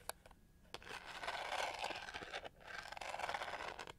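Long nails scratch and tap the raised studs on the back of a hand-sized, hollow pink-gold plastic hair brush with a pyramid texture. A few sharp, dry taps open the clip before two sustained swells of gritty, rasping scratching, each carrying a bright hiss above a midrange body. The sound is quiet and close with almost no ring after each contact.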